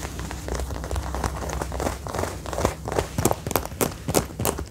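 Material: Faux leather.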